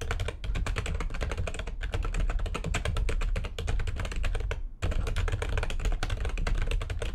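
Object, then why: Plastic computer keyboard. Long nails on both hands type rapidly on a full-size plastic backlit computer keyboard, producing a dense stream of sharp, bright clicks and clacks over a low thumping body. The typing runs steadily, breaks briefly near the end, then picks back up at the same fast pace.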